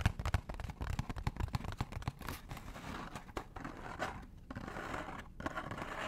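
Fingernails tap and scratch a small, hollow, orange cardboard McDonald's box close to the mic. Quick dry taps with dull low thumps come first, then give way to a steady, irregular scratchy rustle. Each sound stops short with almost no ring.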